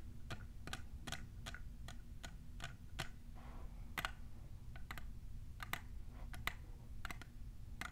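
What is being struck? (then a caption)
Plastic tumbler cup. Long nails fitted with plastic clips tap on the sides of a tall, hollow, clear plastic printed tumbler. The result is a loose, irregular run of short, sharp, bright clicks that die away almost instantly, over a steady low hum.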